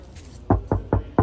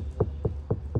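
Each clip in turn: First: untreated car body panel, resonant knock. Second: sound-deadened car body panel, dull knock.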